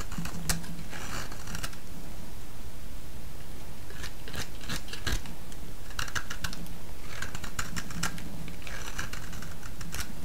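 A solid pale yellow bar of vintage soap, held in the fingers, is shaved and cut with a utility-knife blade. Repeated bright, crackly scraping strokes come in bursts over a steady low hum at an even level throughout.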